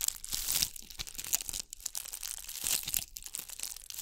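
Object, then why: Ball covered in glass bugle beads. Long nails scratch a ball covered in bugle beads, held in front of and beside the microphone. The result is a dense, bright, crackling rasp of many tiny clicks and crinkles that swells and fades, with almost no low end.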